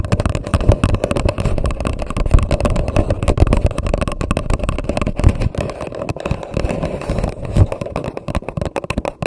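Long nails rapidly tap and scratch the sides of an empty grey paper coffee cup turned upside down over a microphone. The result is a dense, continuous patter of hollow, boomy thumps with a deep low-end rumble around 70 Hz and a resonant tone near 600 Hz.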